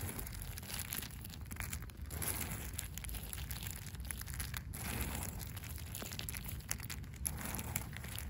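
Long pink acrylic nails scratch the rough surface of cracked, solid, gritty asphalt pavement. The result is a steady gritty crackle and crinkle over a low rumble, with dense rough scrapes and frequent small sharp ticks running throughout.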